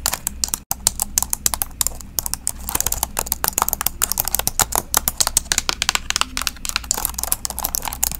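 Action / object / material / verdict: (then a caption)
tap / plastic laptop keyboard / plastic / none. Long acrylic nails and fingertips tap and type on the black plastic keys of an open silver-grey laptop held up in front of a microphone. The result is a steady, rapid stream of sharp, dry, high-pitched clicks that stop instantly with no ring, plus one brief silent gap near the start.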